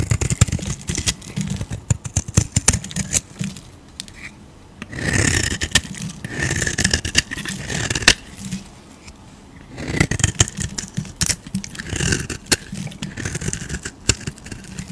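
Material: Soap.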